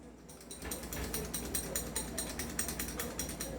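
A stock, non-upgraded metal airsoft gas pistol is shaken by hand, producing a quick, steady series of bright, high-pitched metallic clicks and rattles. The rattling shows the pistol is loose.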